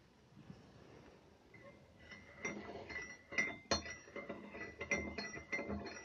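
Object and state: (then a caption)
Ceramic tea mug stirred with a spoon. A metal teaspoon, held in the fingers, is stirred inside a porcelain or ceramic mug with a bird pattern that is full of milky tea. After a quiet start, it clinks repeatedly against the inner wall at an uneven pace, with short bright rings around 2 kHz and high overtones. At the end, the spoon is lifted out.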